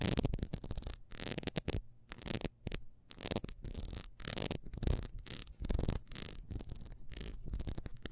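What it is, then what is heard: Ribbed wax candle. Long nails scratch fast across the ridges of a small, solid, ribbed wax beehive candle as it is held and turned. The result is a rapid run of dry, scratchy bursts with bright hissy edges over a heavy low rumble, broken by brief silent gaps.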